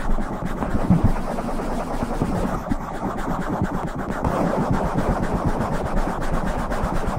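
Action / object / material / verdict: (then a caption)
scrape / foam microphone windscreen / foam / none. Both hands rub and scratch a black foam windscreen on a silver microphone with fingertips and long nails. The result is a steady, dense, low rumbling scrape with quick scratchy flutters running throughout.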